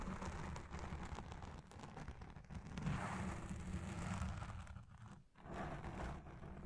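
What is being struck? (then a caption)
Foam microphone windscreen. Long red nails and the fingertips of both hands scratch and rub a soft, porous black foam windscreen dome on a Blue Yeti Pro microphone. The result is a dense, continuous crackling rumble weighted heavily toward the low end, with a brief dip into near-silence just past the five-second mark before the scratching resumes.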